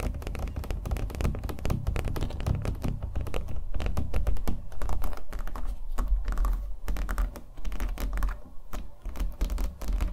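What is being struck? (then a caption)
Acrylic-painted stretched canvas on a wooden frame. A small acrylic-painted stretched canvas on a hollow wooden frame is held up and tapped rapidly with fingernails. The result is a quick, uneven stream of short, dull thumps with a low, drum-like body and almost no ring, the taps running together into a steady patter.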